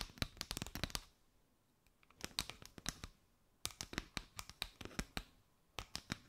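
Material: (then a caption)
Paper. Long nails scratch and tap a mat of chevron paper straws draped over the microphone. Quick bursts of sharp, bright, dry clicks and crinkly scratching come in several clusters separated by brief quiet gaps, with each tap dying away almost instantly.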